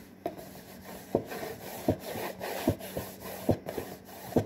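Fingertips and nails scratch across the front and top edge of a medium, hollow, printed cardboard saltine cracker box. A continuous dry, papery rubbing runs throughout, broken by six sharper scraping strokes spaced out over the clip. The sound is mostly low-to-mid in tone and dull, with little bright content and a quick, dry decay after each stroke.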